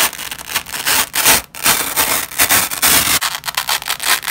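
A yellow and white nylon hook-and-loop strip resting on a red cloth is pulled apart by black-gloved fingers, giving a ripping sound. Short, uneven bursts of bright, raspy tearing repeat in quick succession, with almost no low end and brief gaps between pulls.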